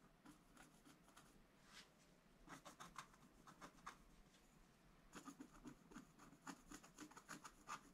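A long wooden stylus scratches the black coating of a flat sheet of scratch art paper in a book, working on the right side of the sheet. Quiet, dry, rasping strokes come in a quick irregular series, each with a short scraping rasp and a bright edge. A denser burst of scratching follows after a pause midway.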